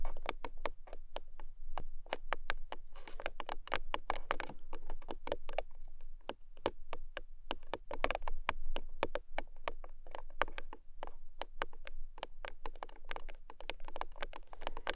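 Fingernails rapidly tap and scratch the short ends of a long, small pink paperboard product box held at both ends. The result is a steady stream of quick, dry, clicky taps with brief papery scratches, each sound dying away almost instantly over a soft low rumble.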